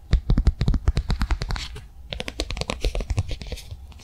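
Long nails tap and scratch a flat, blue, rectangular plastic cardholder that is picked up and held in the hands. The result is a quick, uneven run of light, dry taps with a dull low thump under each. Brief bright, scratchy stretches come in between, and the tapping softens for a moment partway through before resuming.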